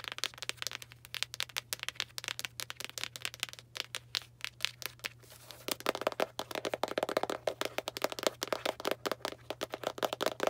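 Long black nails tap rapidly on a small Arm & Hammer cardboard baking soda box, making dry, crackly clicks with a bright edge and almost no ring. The tapping grows denser and louder about halfway through, over a faint steady low hum.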